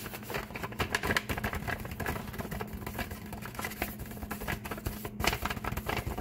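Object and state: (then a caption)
Paper bag. A flat, empty brown kraft paper bag lying on a table is tapped and rubbed with fingertips and nails, sometimes with a flat palm. Quick, dense, irregular taps and papery scratching crinkles run throughout over a faint steady low hum, with slightly louder pats near the start and end.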